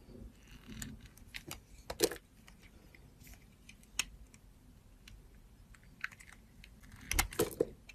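A metal box-cutter blade slices and scores the edge of a solid blue embossed soap bar held in the hand, scraping and cutting it. Short, crisp, bright scraping clicks and light crunches sound over a quiet background, with a busier, louder cluster of cuts near the end.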